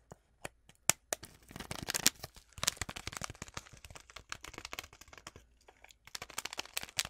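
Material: Foil paper.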